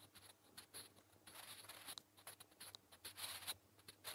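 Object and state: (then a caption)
Pencil writing on paper. A wooden graphite pencil held by fingers scratches across a flat, solid grey lined notebook page in short writing strokes. Bright, dry scratching bursts start and stop in quick succession over a faint low hum, with a few sharper high clicks between strokes.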